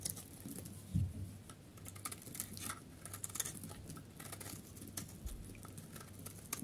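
A solid, pale yellow, stamped dry soap bar is held in the hand and carved and scraped with a utility knife blade. The sound is a quiet run of dry, crumbly scraping and crisp little scratches over a low background hum, with a few sharper cuts standing out.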